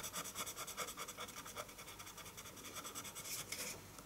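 A colored pencil tip makes fast hatching strokes across a flat sheet of white drawing paper resting on a wooden table. The result is a quick, steady series of bright, dry scratches that rise and fall with each stroke.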